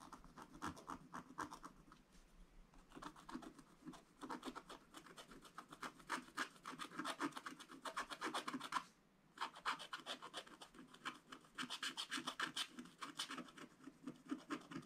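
A wooden stylus held upright scratches across a black coated scratch-art paper page, making strokes on the body of a tractor picture. Quick, irregular scratching strokes give a dry, bright rasp that comes in bursts, with a brief pause around the nine-second mark before the scratching resumes.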